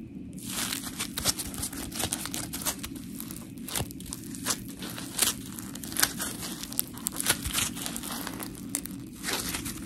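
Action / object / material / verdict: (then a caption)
scrape / polymer foam scrub sponge / polymer foam / none. A palm-sized, round, blue textured polymer foam scrub sponge with smiley cut-outs, solid, is squished and scratched with long pink nails. The result is a continuous gritty, crinkly scratching with sharp, bright tearing bursts throughout, over a steady low rumble.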